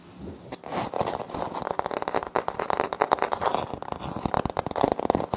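Short nails on both hands scratch a flat, solid wood-look laminate floor panel with a light wood-grain print. The result is a dense run of crisp, crackly scratches and ticks centered in the midrange, with little low end and no ring after each stroke.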